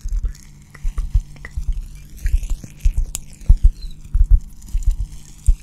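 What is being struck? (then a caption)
Cork coaster. A round, flat, hand-sized solid cork coaster is held beside the microphone and scratched and tapped with long dark-painted nails. Soft, dull low thumps come at an uneven pace over a faint steady low hum, with light scratchy rustles sweeping up into high, bright tones. Each tap dies away almost at once.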